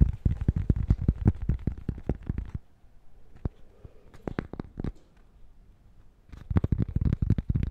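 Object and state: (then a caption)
Cork coaster. Fingertips and nails tap and scratch a thin, flat, square cork-backed coaster held up close to the mic. Rapid runs of dull, low, dry taps with almost no ring fill the first two and a half seconds, give way to a quieter stretch of sparse taps and faint scratching, then return as fast tapping at the end.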